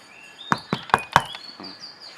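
Knocks on the side area of a second-generation 2007–2012 Vios's steel car roof, which has a damping sheet installed. Four sharp, short knocks die away almost instantly with a dull midrange thud, over faint high-pitched tones in the background. The damped roof sounds solid.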